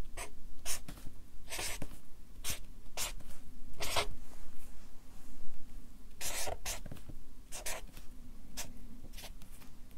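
A felt-tip Sharpie marker writes letters on a stack of white printer paper clipped to a wooden or hardboard clipboard, its tip rubbing and scratching across the paper surface. Short, bright, scratchy strokes come in quick, irregular bursts over a steady low hum.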